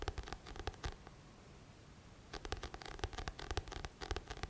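Fingertips tap and scratch the glossy card back cover of a thick paperback book, making quick dry scratchy taps with a soft low thump. A burst of taps is followed by a quiet pause of about a second, then the tapping and scratching picks up again in rapid, uneven strokes.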